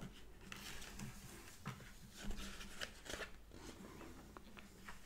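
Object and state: Glossy paper magazine.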